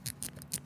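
The scroll crown of a super copy replica Apple Watch Series 6 smartwatch, priced at 699 thousand rupiah, is turned, producing five quick, bright creaking clicks with a faint low rasp underneath. The creak sounds cheap and is a fault, since the original watch's crown turns silently.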